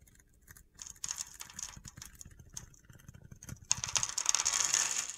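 A utility knife blade scores and shaves the surface of a solid mint green bar of soap with stamped lettering, held in the hand, and gritty flakes fall off. Dry, crunchy, bright scraping and ticking comes in quick, uneven strokes, growing louder and denser toward the end.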